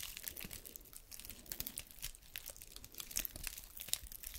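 A single small, dry brown pine cone with open woody scales is scratched and flicked with long red nails. The result is a quiet, steady run of bright, dry crackles and crisp ticks with no ring, like crinkling.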